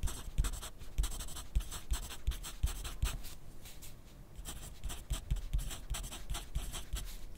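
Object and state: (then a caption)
Pencil writing on paper. A yellow wooden graphite pencil writes steadily on a thin grid paper sheet held on a white clipboard resting on a desk. The pencil tip makes a quick run of dry scratching strokes, with short bright hisses over soft low taps. The strokes pause briefly near the middle and then pick up again.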